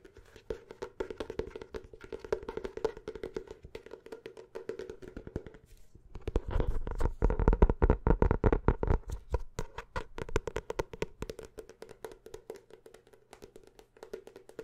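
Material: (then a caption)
Paper. Quick tapping on the cover and pages of a paper notebook produces rapid, dull, wood-block-like taps with very short decay and mostly low, thumping tone. The tapping grows louder and denser in the middle of the clip before easing back to a lighter, steady patter.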